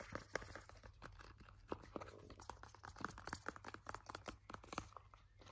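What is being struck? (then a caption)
Soft plastic hand cream tube. A purple soft plastic Nivea hand cream tube, 100 ml, is gripped, squeezed and scratched with fingers and nails. It makes a quiet, rapid string of short crinkly clicks and scratchy taps with a steady low hum underneath.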